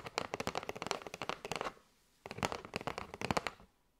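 Long nails tap and scratch a kraft cardboard box with a window, full of paper straws. Two bursts of quick, dry, crisp clicks and scratches have a brief pause between them, and each sharp tap dies away almost at once.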